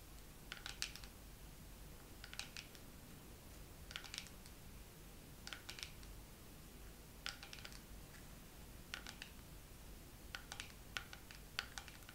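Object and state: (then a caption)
Dermaroller case. Fingernails tap slowly on a dermaroller case in a second round of tapping. The taps come in short clusters of sharp, dry clicks with a bright ring around 1.4 kHz. They die away almost instantly over a quiet, low background hiss.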